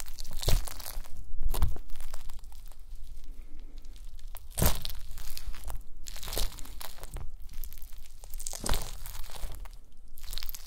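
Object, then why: Small gelatin jelly cubes. A pile of small pink translucent solid gelatin jelly cubes on a white mesh mat is pressed and crushed with the round end of a wooden masher. The result is a steady run of crunchy, crackling squishes, with sharper bright bursts standing out over a low, dense crushing texture.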